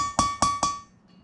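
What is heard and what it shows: A hammer taps a metal socket driving a valve stem seal into a Ram 2500 6.4L Hemi cylinder head. Three sharp metallic taps each ring at a steady tone near 1.1 kHz and fade quickly. The changed tone shows the seal is fully seated.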